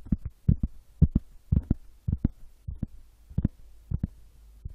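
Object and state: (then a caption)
Tapped wood. A wooden object is tapped, giving sixteen soft, low, dull thumps that fall mostly in quick pairs, like a heartbeat. Each tap dies away almost at once over a faint low hum.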